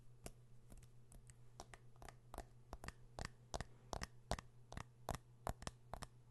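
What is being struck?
Metal and glass smartphone.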